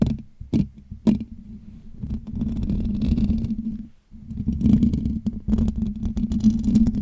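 Fingertips scratch and rub the hollow metal wire-mesh dome grille of a Blue Yeti USB microphone. A few sharp scratches stand out early, then a steady, dense rubbing leads into a brief near-silence at about four seconds. Busier scratching with crisp ticks follows, all over a steady low hum.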